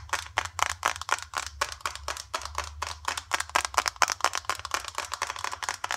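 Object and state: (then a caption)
Plastic cosmetic jar. Long, dark acrylic nails tap quickly on the sides and lid of a small, green, hollow plastic face cream jar that is likely filled. Dozens of dry, bright clicks with very short decay center around 1 kHz. They arrive in an uneven, rapid rhythm of roughly two per second.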